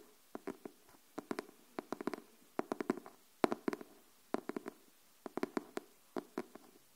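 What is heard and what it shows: Long nails tap and scratch the printed cover of a closed, pink illustrated hardcover notebook. Quiet, dry clicks come in small irregular bursts, each dying away almost at once, with a hollow low-mid body and faint bright scratchy edges.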